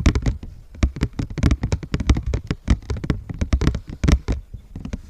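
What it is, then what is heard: Paper heart cutout. Fingertips and nails of both hands rub and scratch the surface of a large, thin, flat heart cut from white paper or cardstock, held upright in front of the microphone. The result is a rapid, uneven run of soft, close scratching taps and brushes with a heavy low thump in each stroke and only faint high rustle, each sound dying away almost at once.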